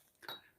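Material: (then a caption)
Plastic. A jewelry piece set with stones thought to be lucite rather than glass is poked or tapped once, giving a single short, high-pitched click that fades within about a tenth of a second. The click sounds like plastic.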